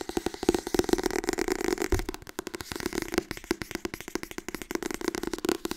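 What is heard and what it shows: Fingers tap rapidly on the softcover book "Harry Potter en de steen der wijzen." The dense, uneven run of short, dry taps has a dull midrange tone and almost no ring, with a brief pause partway through.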